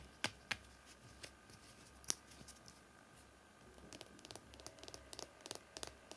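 A small, hollow yellow plastic mascara tube, held in both hands over a towel, is handled and tapped or scratched with fingertips and nails. Soft, bright, dry clicks and light scratches come at an irregular pace. They are sparse at first, with a few sharper taps standing out, then cluster more densely toward the end against a quiet, faint background.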